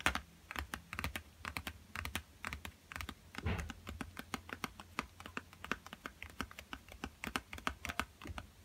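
Fingertips tap quickly on a yellow Crayola cardboard box of 12 coloured pencils, hollow and full of pencils, first held upright and then laid flat on a table. Dozens of light, rapid, clicky taps come in uneven bursts, each with a dull low thump underneath. The taps die away almost at once.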